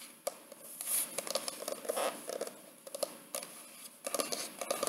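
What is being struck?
Paper-covered cardboard hardcover photo album.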